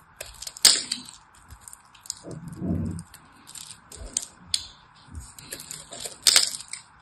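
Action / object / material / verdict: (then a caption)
scrape / soap bar cut with a knife / soap / none. A knife blade carves and crushes a solid purple-and-white striped soap bar into small cubes, giving bright, crisp cracks and crunches, with two sharp snaps near the start and end. Between them come softer scraping and a low, muffled crumbling of the soap, over a faint steady hum.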